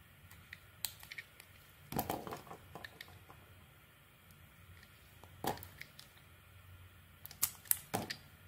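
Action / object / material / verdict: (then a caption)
scrape / bar of soap shaved with a knife blade / soap / none. A solid, round, pink-beige bar soap held in the hand is peeled and shaved with a utility knife blade into long cream-colored curls. Quiet, scattered scraping ticks are broken by a few louder crackling, shaving bursts spread across the clip, each with a bright, crisp edge and almost no ring.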